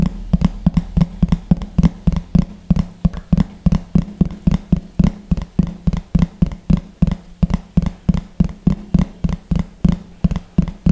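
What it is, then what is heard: Plastic plate. A large, thin, hollow yellow plastic plate, held against the chest beside the microphone, is tapped rapidly with the fingertips and short nails of one hand. About forty quick, hollow, low-pitched knocks follow in a steady run, each dying away almost instantly with a resonant thump around 170 Hz.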